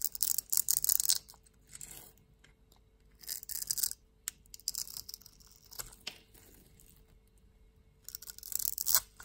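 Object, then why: Soap bar cut with a blade. A metal utility-knife blade scrapes the textured surface off a palm-sized solid pink bar of soap held in the hand, leaving crumbly shavings. Bright, dry, crackly scraping comes in bursts separated by quiet pauses, with a faint steady hum underneath.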